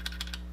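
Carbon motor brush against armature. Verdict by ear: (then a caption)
Free. A carbon motor brush dropped into its holder in a Makita 5007F saw taps against the armature three times, making short, light clicks over a steady low hum. The free tapping shows the brush slides smoothly and is not sticking, binding or pinching.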